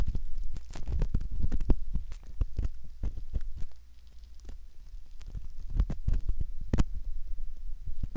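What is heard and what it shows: A metal ear pick scratches and rubs at the canal entrance of a soft silicone ear model, making a dense, irregular stream of close, deep scraping and muffled thuds with sharp crackly ticks. The sound stays mostly low and boomy, dips quieter near the middle, then builds back up.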